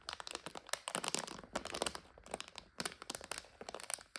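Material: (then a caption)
Plastic. A full plastic bag of dry egg noodles lies on its side while long nails tap and scratch across its label and plastic. Many quick, bright crinkling clicks and crunchy scratches come in dense clusters with short gaps between them, and each one dies away at once.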